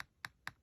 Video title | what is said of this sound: Testing Signature Crafts earring mold | you can hear it. It's actually pretty hard.